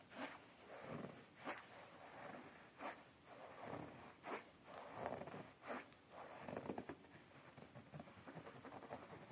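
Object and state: Upholstered fabric chair seat being scratched.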